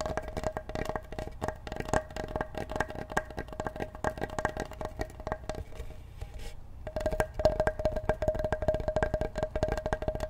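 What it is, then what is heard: Wooden cutting board. Fingertips tap rapidly on the surface of a large, solid wooden cutting board held in both hands and briefly tilted. The result is a dense run of short, dry, hollow knocks with a woody tone around 620 Hz. The taps thin out and soften for a moment just before the seven-second mark, then resume slightly louder.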